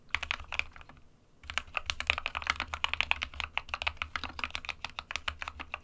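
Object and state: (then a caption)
Plastic mechanical keyboard being typed on. Fingertips of both hands type steadily on the plastic keycaps of a small 60% white plastic-cased SK61 mechanical keyboard resting on a desk mat. The result is a fast run of crisp, short, bright clicks centered around 2.5 kHz, with a brief pause near the one-second mark before typing resumes, over a faint low hum.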